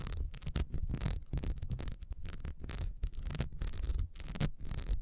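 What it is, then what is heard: Ribbed beeswax candle. Long nails on both hands rapidly scratch the ribbed sides of a solid, beehive-shaped beeswax candle standing upright. The result is a dense, continuous run of short, crackly scrapes with bright, hissy edges over a heavy low rumble, with no pauses.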